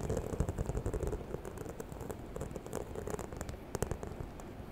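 Long nails scratch and tap the surface of a small, hollow, white croc-embossed faux leather handbag near the zipper. The result is a steady run of soft, dry taps and scratchy rustling with a low, hollow body and quick-dying clicks. A few sharper, brighter taps stand out near the end.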